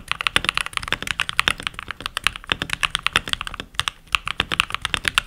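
Fingertips with short nails, rings on the fingers, type continuously on a full-size backlit mechanical keyboard with pink plastic keycaps. Rapid, uneven strings of short, bright plastic clacks come with almost no low end and die away instantly, leaving brief gaps between bursts of keystrokes.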